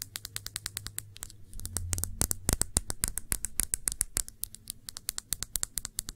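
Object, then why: Small thick-bottomed glass shot glass. Long nails tap a small, clear, thick-bottomed glass shot glass that is hollow and empty and held on its side. The result is a rapid, uneven run of sharp, bright clicking taps that die away almost instantly, over a faint low hum.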